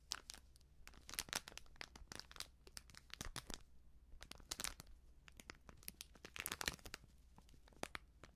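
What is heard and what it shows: A small, flat, sealed plastic-foil sachet of baking soda, hollow and filled with powder, is held in both hands and crinkled and scratched with long nails. Dense, bright crackling crinkles come in quick bursts and short pauses over a steady low hum.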